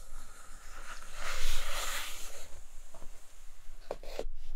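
Long acrylic nails scratch and tap the printed bottom inside a large, empty, flat brown kraft cardboard box tray. A dry, hissy scratching swells and fades over the first couple of seconds, followed by three sharp, bright taps near the end over a faint low rumble.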